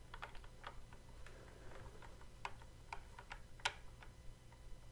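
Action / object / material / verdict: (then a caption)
tap / plastic toy guitar controller / plastic / none. Fingertips press and tap the fret buttons on the neck of a hollow plastic Guitar Hero style toy guitar controller. An irregular series of short, sharp plastic clicks with bright tops is heard over a quiet, steady low hum, with one louder click near the end.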